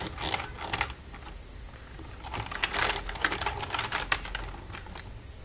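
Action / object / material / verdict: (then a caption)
tap / plastic computer keyboard keys / plastic / none. Long red nails tap and type on the keys of a black plastic computer keyboard, making quick, irregular, bright plastic clicks. Brief clusters of clacks sit over a quiet background, with a soft lull in the middle of the clip.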